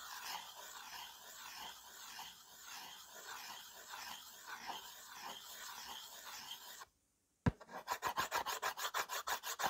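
The tip of a white slate pencil, held in the fingers, scribbles across a small, solid, flat framed slate board with dust on its surface, making a steady gritty rasping scratch for about seven seconds. After a brief silence and a sharp tap, quick, separate back-and-forth strokes follow, each a bright scraping burst.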